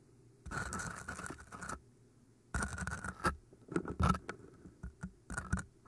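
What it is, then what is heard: Floral foam block. Long painted nails scratch and tap the sides of two solid green floral foam cylinders, each about hand-sized. Two long, dull, rasping scratches are followed by a run of short, soft taps and brief scrapes. A faint steady tone near 1.3 kHz hums underneath throughout.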